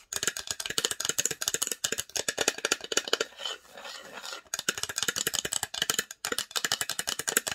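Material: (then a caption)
Wood. Long nails rapidly tap and scratch the engraved lid of a small, hollow, varnished wooden box held at an angle. A fast run of bright, dry clicks breaks briefly into a softer, continuous scratching before the tapping resumes. Each tap is short, with almost no ring and little low end.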